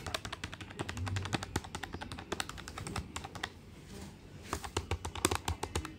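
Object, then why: Plastic desktop calculator keys. Fingertips tap quickly on the plastic keys of a black plastic desktop calculator with a hollow body. The result is a rapid stream of short, dry clicks with a hollow low thump beneath them. The taps briefly thin out around the middle before picking up again.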